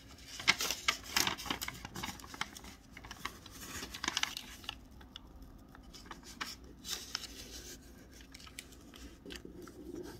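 A large, thin square of Christmas wrapping paper, white with teal snowflakes on the front and a brown grid-lined kraft back, lies flat on a white table while fingertips press and slide along its folds, rubbing and creasing it. Bright, crisp crinkles and papery scrapes come in sharp bursts over the first few seconds. They then settle into softer, sparser rustling.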